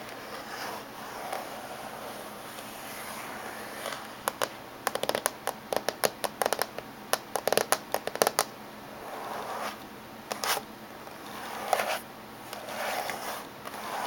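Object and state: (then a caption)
Laptop casing. Fingernails tap slowly on the top surface of a closed silver laptop casing, making short, dry clicks that bunch into a quick run in the middle of the clip and then return as a few scattered taps. Soft rubbing and rustling sounds fill the gaps between the taps.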